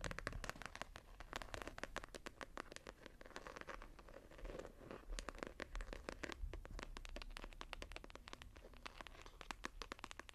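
Long nails scratch and tap all over the textured, embossed gold and red foil hardback cover of a small closed journal lying flat. A rapid, continuous stream of dry, bright ticks and scratchy scrapes over a low, soft rumble, each tap clicking short with almost no ring.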